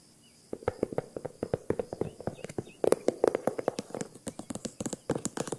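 Long nails tap and scratch the front panel of a hollow green faux leather handbag with a crocodile-embossed surface and a top handle. A rapid run of short, dry clicks with a hollow midrange tone and faint bright scratching between them grows denser and louder after about three seconds.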